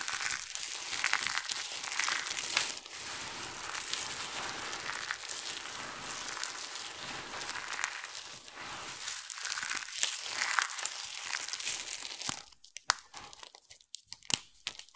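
Cupped hands scoop and crush a pile of dry, multicolored soap shavings, palms press into the pile, and fingertips pick and crumble pieces. The result is a dense, bright, dry crunching and crinkling that runs steadily for about twelve seconds with almost no low end. It then thins to sparse, quieter crackles and sharp little clicks.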